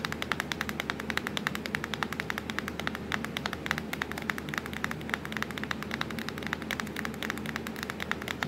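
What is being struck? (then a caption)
Plastic laptop keyboard keys. Long acrylic nails tap fast on the keys of a black plastic laptop keyboard. A rapid, steady stream of short, sharp, bright clicks sits over a faint, constant low hum.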